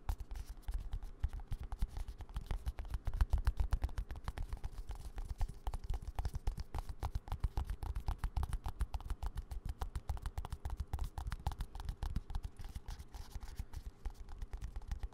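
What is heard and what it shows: Fingertips and nails tap rapidly and unevenly on a small, hand-held green and white plastic squeeze tube of hand cream, likely partly full, held close to the mic. The taps are soft, dull and dry, with a low, thumpy body and almost no ring, forming a steady patter across the whole clip.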